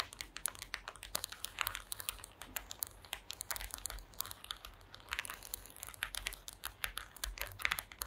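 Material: Wood.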